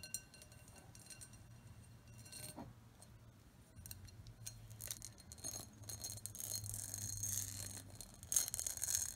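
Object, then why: Pressed glass bowl. Long acrylic nails tap and scratch the outer diamond-patterned surface of an empty, medium-sized, hollow clear pressed-glass bowl. The result is quiet, irregular, bright clicks and scratchy rasps with very short glassy ringing. The sound grows denser and louder toward the end.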